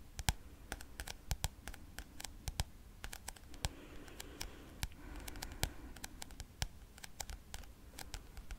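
Fingernails tap and click on the turquoise glossy cardboard cover of a thick paperback textbook held up in the air. Sharp, irregular clicks with brief bright edges sound over a soft, low scratchy rustle that swells slightly in the middle of the clip.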